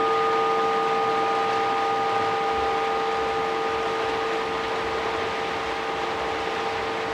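A homemade metal gong plate, its center dimpled against plywood in a press, rings with a steady bell-like tone of several clear pitches that fade only slightly over the whole clip, over a constant hiss of rain. Before the dimpling, tapping it gave a dull, twangy sound; now it rings out and keeps vibrating until it is stopped.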